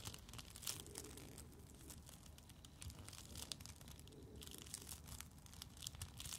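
A glowing coil of thin, flexible plastic tubing is held close while fingertips and long nails rub, squeeze and scratch its loops. The result is a steady, quiet stream of crinkly, crackling scratches with bright, sharp clicks over a soft, low rumble.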